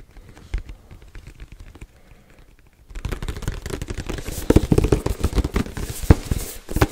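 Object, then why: Cardboard box. A black printed cardboard Yeti microphone box is held in both hands and turned while fingertips and nails tap and scratch it. Soft, scattered taps come first, then after about three seconds the sound turns into a denser, louder run of dull, low thumps and crackly scratching.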